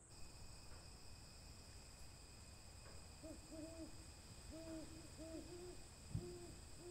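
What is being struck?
Nothing is struck.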